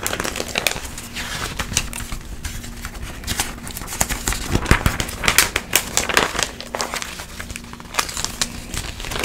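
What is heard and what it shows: A glossy paper magazine is held open while its pages are flipped quickly by a hand with long yellow nails. Crisp, bright crinkling and rustling page turns come in quick bursts throughout, over a faint steady low hum.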